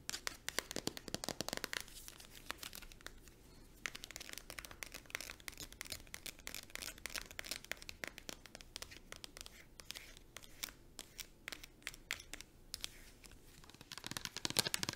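Long nails rapidly tap and scratch a small white Mitchell and Peach cream tube made of soft plastic. The result is a dense stream of crisp, bright clicks and crinkly scratches that stop dead with no ring, loudest in bursts at the start and end.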